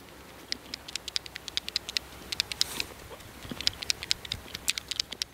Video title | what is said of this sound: Sortenreine Apfelsäfte aus Riedenburg: Schatzsucherin Luise Naderer -Zwischen Spessart und Karwendel | Wenn er schön reif ist, ist er ein "Klapper-Apfel": Wenn man ihn ans Ohr hält, wackeln die Kerne drin.